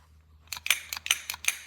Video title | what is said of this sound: 04-08-24 - 68 BSA 441 Victor - Progress | you can do that and hear that slide going up and down like that